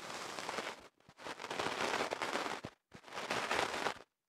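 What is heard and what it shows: A bamboo ear pick is worked by fingers inside the opening of a longer white kenaf paper tube wrapped around a microphone. It makes dense, crackly scratching and rustling across a broad, bright range. The sound comes in three bursts separated by brief silences.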